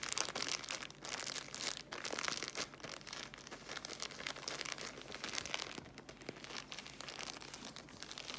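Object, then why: Tissue packs in thin plastic film. Long manicured nails and fingertips tap and scratch the thin plastic film wrapping a bundle of three small, soft paper pocket tissue packs held in one hand over a tablecloth. The result is a quiet, continuous stream of bright, crisp crinkling and scratchy ticks, with almost no low end.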